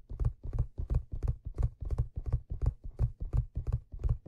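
Fingertips tap and rub the hollow crown of a black stitched leather fedora near the brim. The result is a steady stream of soft, low, dull thumps, about three per second, each very short with almost no ring, forming a rhythm like muffled hoofbeats.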